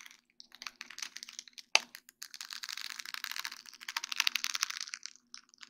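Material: Acrylic.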